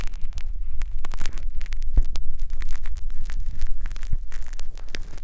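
Two fine metal wires on a blue plastic holder scratch and rub inside the ear canal opening of a white silicone binaural microphone ear. The result is a close, continuous crackling scrape full of quick bright ticks over a heavy low rumble, steady in level throughout.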